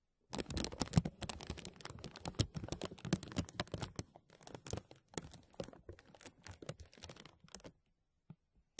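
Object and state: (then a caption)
Thin plastic bag crinkled. Fingertips pinch and rub a thin translucent plastic bag stretched over a mesh microphone, producing dense, crackly crinkling with sharp, bright snaps over a low, close rumble. The crinkles come in uneven bursts for about seven seconds, then thin out to a few isolated crackles before stopping.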